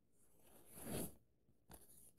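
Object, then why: Paperback book paper pages. An index finger traces the text across the paper pages of an open paperback book, and fingertips pinch and rub a page corner. A soft papery rustle swells to a peak near the first second, then fades. A second, shorter brushing rub follows and settles into a faint scratch.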